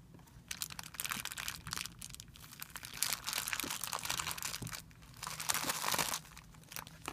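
Fingertips press and rub a crumpled, thin, clear plastic film bag resting on a white surface. The result is dense, irregular, bright crinkling in overlapping bursts, with louder swells near the middle and again toward the end, and a faint low hum underneath.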